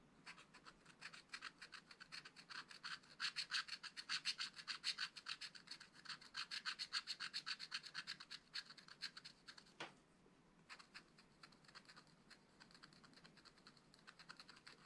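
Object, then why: Black-coated scratch-art card scratched with a wooden stylus. A wooden stylus scratches an owl drawing into a spiral-bound scratch-art pad of thin black-coated card lying flat on a table, using short strokes. The result is a fast, uneven run of dry, bright scratches that grows louder in the middle, pauses briefly near ten seconds, then resumes more softly.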